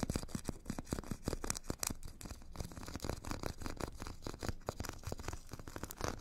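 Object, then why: Foam foot file with abrasive grit layer. A metal stick scratches and taps across the purple abrasive grit layer of a solid, hand-held foot file with a white foam core. The result is a fast run of dry, raspy scrapes and short ticks with bright grainy texture over a low, soft thud.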